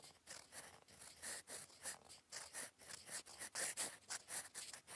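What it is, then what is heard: Metal pen nib scratching on paper. A gold metal fountain pen nib, held in the fingers, scratches across lined cream writing paper in cursive strokes. The result is a quiet, bright, dry scratching that comes in short, uneven bursts, each stroke fading quickly before the next.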